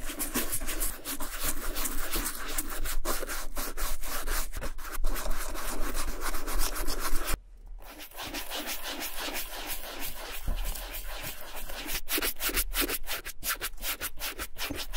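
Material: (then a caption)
Leather. A small round wooden-handled dauber brush with black bristles is rubbed and brushed over the toe and side of a worn dark brown leather FRYE boot held on a gloved hand. The quick, dry, scratchy strokes come at about four per second. They pause briefly around the middle, then resume slightly softer.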